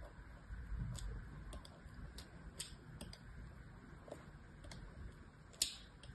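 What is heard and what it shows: A thin knife blade scratches and carves crosshatch lines into a solid cream-coloured rectangular soap bar, which lies among other bars on a blue cloth and is held still by one hand while small shavings come away. The carving makes a series of short, crisp, bright scrapes and ticks that stop quickly, over a low, soft rumbling background.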